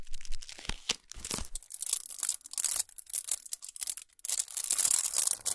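Long nails rapidly tap and scratch the shiny aluminum foil wrapping a solid chocolate bar resting on a towel. The result is bright, crinkly scratching and tearing-like rustles mixed with quick, dry taps and a few soft low thumps, all in uneven bursts with brief pauses.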